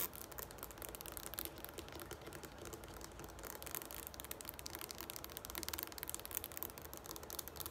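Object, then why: Plastic shampoo bottle. A tall, green, hollow plastic shampoo bottle standing on a wooden table is tapped quickly on its sides by both hands with long nails. The result is a quiet, steady stream of rapid, bright clicking taps with a crinkly, high edge and almost no ring after each hit.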